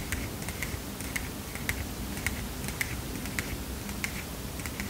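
Fingernails tap and scratch the edge of the paper stack on a small heart-shaped paper mini notepad, giving eleven sharp, bright ticks with a crisp papery click. The ticks sit over a steady low rumble.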